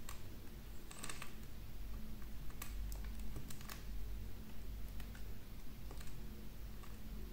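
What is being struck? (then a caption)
Wax candle. A small metal knife blade shaves and carves a solid, palm-sized green wax candle held in one hand, peeling off curls of wax. Soft, crisp scraping ticks and brief bright clicks scatter over a steady low hum. The level stays quiet and even throughout.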